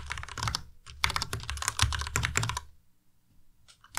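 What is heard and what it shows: Fingertips type on a white Ducky Miya Pro tenkeyless mechanical keyboard with plastic keycaps, producing an irregular, rapid run of clacky keystrokes that each pair a low thock with a bright click. The typing is dense for about two and a half seconds, then falls quiet except for a few faint taps near the end.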